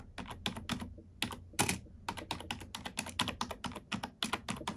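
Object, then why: Plastic computer keyboard. Long nails and fingertips type on a black plastic computer keyboard in a quick run of about thirty keystrokes. Each key gives a sharp, bright plastic click with a short clack that dies quickly, over a faint steady low hum.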